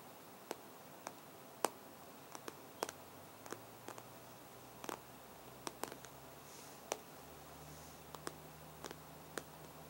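Fingertips and short nails tap on the hard glass touchscreen of an iPad in a black case lying flat. About nineteen short, sharp clicks come at irregular intervals, each dying away almost instantly. A faint low hum runs quietly underneath.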